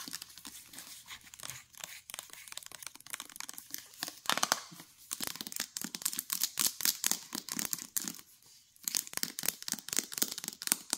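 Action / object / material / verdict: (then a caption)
scrape / plastic jar with paper label / plastic / none. Long nails scratch the paper label of a full plastic mayonnaise jar and tap its molded plastic bottom. The result is a rapid, dense stream of bright, crinkly scratching and crisp clicking taps with almost no low end, briefly pausing near the eight-second mark before resuming.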